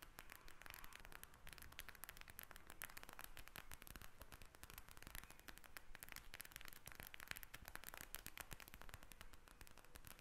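A pink gel bead eye mask in a plastic shell lies flat and is tapped with the tips of long red acrylic nails. The result is rapid, dense, crackling clicks with a bright, short, dry snap, held at a steady, quiet level for the full ten seconds.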